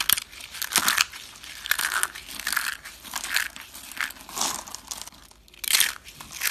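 Small hollow rolled curls of dry yellow and green bar soap are crushed and crumbled between bare fingertips and palms into flakes. The result is a run of crisp, bright crunching and crackling bursts with almost no low end, each dying away dry with no ring.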